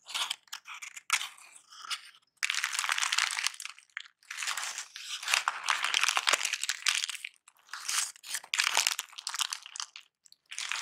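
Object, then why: Kraft paper wad. A wad of crumpled brown kraft packing paper is held over a box and scrunched and crinkled with both hands. It makes dry, bright crunching and crackling bursts with no low end, separated by brief quiet gaps.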